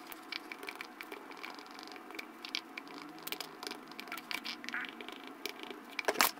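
A light-blue plastic spatula presses ridges into pink and yellow foam slime in a small clear plastic jar and stirs it. The result is a dense run of quiet, bright crackles and pops with no low end, ending in a louder burst of crackling.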